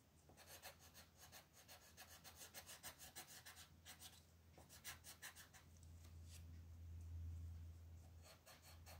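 A green colored pencil, held in a hand with long red nails, fills in leaves on a flat, thin paper coloring book page resting on a table while the other hand rests on the sheet. Quick, repeated rubbing and scratching strokes make a bright, raspy papery texture over a steady low hum near 110 Hz. The strokes fade into a louder, smoother stretch of hum before a few more scratches return at the end.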